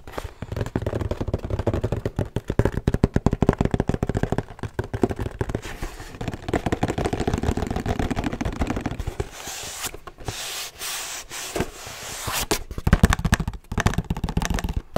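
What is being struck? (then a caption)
Cardboard box. A long, narrow, empty-looking brown cardboard box is held beside the microphone while fingertips and nails tap and scratch its sides. Rapid, dense, dull thuds with a hollow low body and almost no ring dominate, and around the ten-second mark they give way to a brighter, airy scratching before the quick tapping returns.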